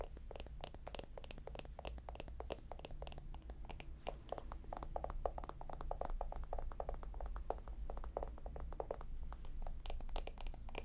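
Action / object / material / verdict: tap / small wooden jar with lid / wood / none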